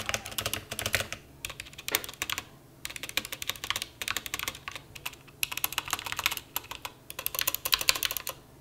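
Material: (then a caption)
Plastic. Fingertips type on a full-size, white-cased mechanical keyboard with a hollow case and black and white plastic keycaps, resting on a bare grey desk. Quick, bright, clacky key taps come in bursts separated by short pauses, with each click dying away almost instantly.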